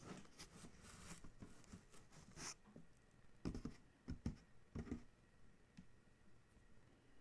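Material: Cardboard.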